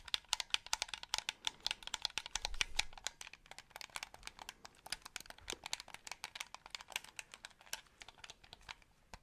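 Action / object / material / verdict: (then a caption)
tap / plastic game controller buttons and triggers / plastic / none. A white, hollow plastic game controller is held in both hands close to the mic while fingertips click its triggers and buttons. Dozens of quick, bright, dry plastic clicks and ticks follow one another in a steady, irregular stream, each stopping almost instantly, with little low end and a soft overall level.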